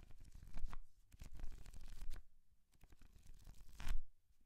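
Painted fingernails riffle and scratch through the paper pages of a thick paperback book held open in one hand. Dry, papery flutters and scratches come in uneven bursts, with fuller riffles swelling and fading between quieter, scratchy stretches.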